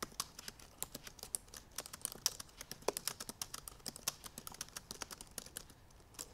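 Long purple nails tap the black plastic keys of a silver aluminum MacBook Pro laptop keyboard in fast typing. The result is a rapid, steady run of about forty short, dry, bright clicks with almost no low end, each dying away almost instantly.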